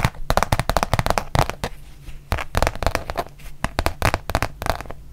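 Long painted nails tap and scratch the printed surface of a thin, flexible, rubber-backed fabric mouse pad with a Eurovision print, held up in the air. The sound is a quick run of short, dry crackling taps with brief scratchy bursts between them, each tap fading almost instantly over a low hum.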